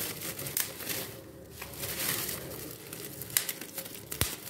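A large clear sheet of air-filled plastic bubble wrap is held in both hands, squeezed and popped with the fingertips, and crumpled. Soft, bright crinkling rustles run throughout, with several sharp, brief pops standing out, the loudest near the end.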